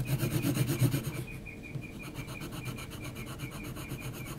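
An HB graphite pencil is rubbed and scratched across a large flat sheet of heavy textured mixed-media paper, shading around the eye of a drawing. Quick, rhythmic back-and-forth scratchy strokes with a low, grainy rasp start out louder and fuller for about a second. They then continue as lighter, softer, steadier strokes with a faint bright edge.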